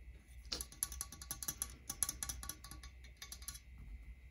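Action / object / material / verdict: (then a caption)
tap / metal microphone body / metal / none. A medium-sized silver metal USB condenser microphone, with a hollow metal body and a knob, rests on a wooden stool and is tapped directly on its body with fingertips and nails. A rapid, uneven series of light, bright ticking clicks dies away almost instantly, over a steady low hum and a faint constant tone around 2 to 3 kHz.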